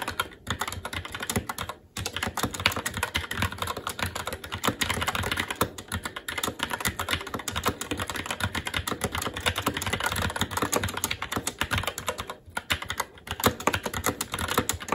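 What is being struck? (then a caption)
Mechanical keyboard, plastic keycaps on metal plate. Fingertips of both hands type continuously on a SteelSeries Apex 7 TKL mechanical keyboard with Red switches, black plastic keycaps on a metal plate, and a hollow RGB-backlit case resting on a desk. A dense, steady stream of bright, short clacks with a low thock beneath them fills the clip, broken only by brief pauses near 0.4, 1.9 and 12.5 seconds.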